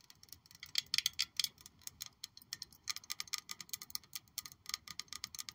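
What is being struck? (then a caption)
Glass perfume bottle. A black glossy glass perfume bottle shaped like a high-heel shoe with a gold heel, hollow and palm-sized, is held in one hand and tapped all over with long pointed acrylic nails. The result is a rapid, irregular stream of dozens of quick, bright, clicky taps with a glassy tone around 3.4 kHz. Each tap dies away almost instantly, with no low-end body.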